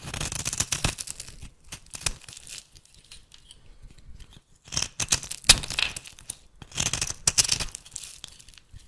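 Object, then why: Cream bar soap shaved by a metal blade. A metal blade shaves thin curls off the edge of a solid rectangular bar of rancid cream soap held in the hand. Bright, dry scraping and crinkly tearing come in bursts of quick strokes, separated by quieter pauses.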